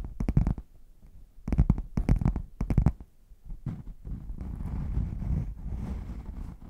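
Fingertips and nails tap quick clusters on the front panel of a closed, hollow red padded faux leather zip case held upright, giving soft, low, muffled knocks in three bursts. A steady, dull scratching then runs across the panel for the last few seconds.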